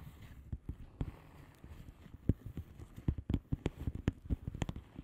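Long polished nails on both hands tap and scratch the plastic bubble wrap surface of a flat padded envelope. A rapid, uneven run of soft, dull, low taps dies away almost instantly, with faint scratching rustle between them.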